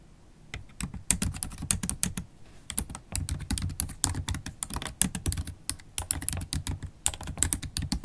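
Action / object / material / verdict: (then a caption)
tap / laptop keyboard with plastic keys / plastic / none. Long holographic acrylic nail tips tap fast across the black plastic keys of a MacBook Pro laptop keyboard. The result is a quick, dense stream of short, bright clicks over a soft low thump, with brief pauses between bursts of typing.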